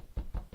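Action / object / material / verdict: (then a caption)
knock / upholstered couch / unknown / none. Three low, dull knocks on a couch, each a short deep thud with almost no ring and nothing bright above it.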